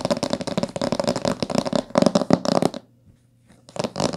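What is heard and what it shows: Long nails tap rapidly on the top of a thick, solid blue-green hardcover book with a coated board cover and a gilt-decorated spine, lying closed on a table. The dense, fast taps give short, dry clicks with a firm mid-low body and bright edges. They break off for about a second of near silence, then resume.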